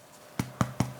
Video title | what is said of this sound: How to Make Soft Low Carb Gluten-Free Rolls (Vegan & Dairy-Free) | tap the base they should sound hollow all the way through